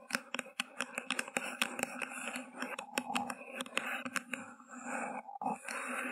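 Long glossy nails scratch and tap along the hollow paper sides of an empty white paper cup with a green grass print, turned upside down over a microphone. A rapid series of sharp, dry clicks rides over a steady papery scratching hiss, with the taps stopping almost instantly.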